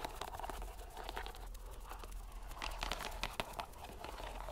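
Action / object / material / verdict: scrape / soft rubber stress ball in a string mesh / rubber / none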